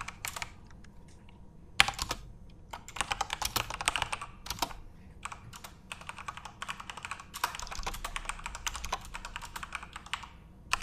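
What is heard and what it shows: Both hands type with their fingertips on a full-size Corsair RGB-backlit mechanical keyboard with plastic keycaps. The result is a steady, uneven stream of short, bright plastic clicks and clacks. There are denser bursts and brief pauses, and each tap dies away almost instantly.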